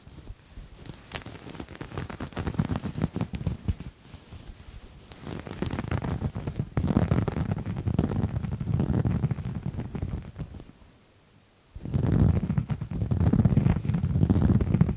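Fingernails scratch a piece of grey, dotted-texture knit fabric that is stretched taut between two hands. The sound is a dense, low, rustling scratch made of quick strokes that come in bursts. It drops out almost to silence around eleven seconds, then resumes.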